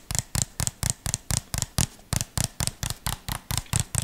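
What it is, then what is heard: Plastic jar. A small, hollow white plastic jar with a red label and a screw lid is held close and tapped and scratched with the fingertips. About 17 quick, irregular taps are heard, each a dull hollow thump around 145 Hz with a bright plastic click on top. Every tap dies away almost at once.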